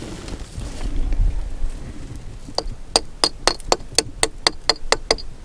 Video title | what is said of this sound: Part 3 - Sunset Crater and Wupatki National Monuments | what makes it sound hollow when you tap it here